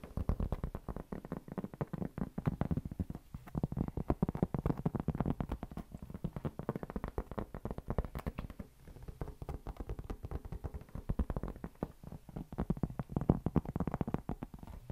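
A solid, round, flat cork board is held up and scratched with fingertips and nails. It makes a dense, continuous stream of rapid, dry scratches that sound dull and low-heavy, with almost no bright content. Each stroke dies away at once.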